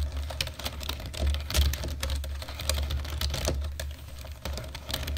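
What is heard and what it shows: Fingertips of both hands type fast on a black plastic computer keyboard, producing a dense, continuous stream of short, bright clicks. A steady low hum sits underneath the clatter throughout.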